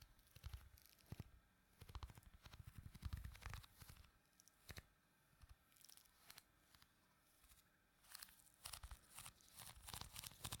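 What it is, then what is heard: Putty squished in a plastic tub. Fingertips press and squish the exposed surface of pink putty filling a small, round, clear plastic tub. The result is quiet bursts of sticky tearing and crinkling crackles with bright, sharp clicks over soft low thumps. Short pauses separate the bursts.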